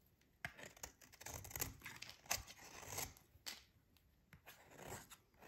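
A metal utility blade scrapes and shaves a solid, dry, pink rectangular bar of soap held in the hands. The sound is a series of irregular, crisp, bright scraping strokes with short sharp onsets and little low end, separated by brief quiet gaps.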